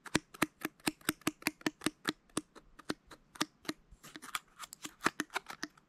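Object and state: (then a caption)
Plastic pill bottle, full. Fingernails scratch and tap on the paper label and white ribbed cap of a small dark plastic supplement bottle full of pills. A steady run of short, dry, crisp taps with a bright edge and a faint hollow body, each dying away almost instantly. Midway the taps turn into a quicker, scratchier flurry before settling back into a tapping rhythm.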